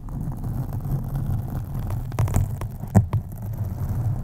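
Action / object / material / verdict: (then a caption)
scrape / foam microphone windscreen / foam / none. Long acrylic nails on both hands scratch a black foam windscreen on a USB microphone, producing a steady, muffled, low rumbling scrape. A few sharper, brighter scratches stand out over the dull, deep texture.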